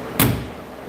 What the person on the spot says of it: When you shut the door, it sounds solid, doesn't it?